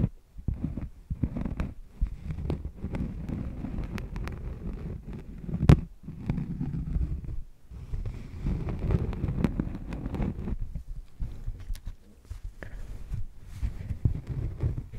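A thin, solid cork coaster held against a furry microphone windscreen is scratched with long painted nails. The result is a deep, muffled, bassy scratching and rustling with short bright clicks, a loud thump near the middle and brief quiet gaps between strokes.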